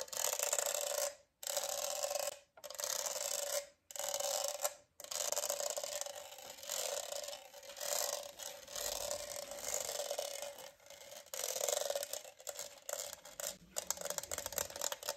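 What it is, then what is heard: Plastic studded tumbler scratched. Fingernails scratch and rub across the textured studs of a large, hollow, rainbow studded plastic tumbler with a straw, held in one hand. Four dense, bright raspy bursts are separated by brief silences, followed by a longer stretch of continuous scratching that rises and falls and grows softer near the end. A steady band sits around 570 Hz beneath the bright rasping.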